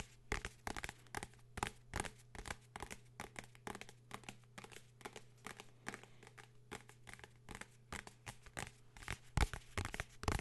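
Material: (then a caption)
Cardboard, paper. Fingers tap and scratch a blue hardcover book in quick, dry bursts, with crisp crinkling and scraping textures between sharp short taps. A steady low hum sits underneath throughout.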